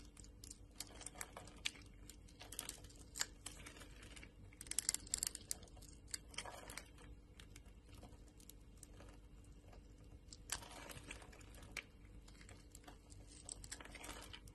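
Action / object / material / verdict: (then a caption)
scrape / soap bar / soap / none. A solid green bar of soap, held in the hand, has its surface scored and shaved off with a utility-knife blade, and small cubes crumble away. Quiet, bright scraping and crisp crackling cuts come in short bursts, with a few louder crunches over a faint low hum.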